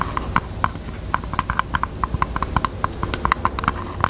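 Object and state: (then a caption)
Faux leather heart-shaped purse. Long teal nails tap rapidly on the front of a pink, hollow, handbag-size heart-shaped hard-shell purse in faux leather. About twenty short, dry clicks ring around 1 kHz in an uneven, galloping rhythm, each dying away almost instantly over a faint low rumble.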